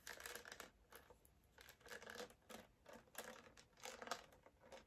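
Long black acrylic nails tap and scratch a small blue plastic Fanta bottle with an orange cap, hollow and filled with liquid, held in both hands. The result is a quiet run of quick, dry clicks and scratchy, crinkly bursts with a bright edge, almost no low end, and very little ring after each touch.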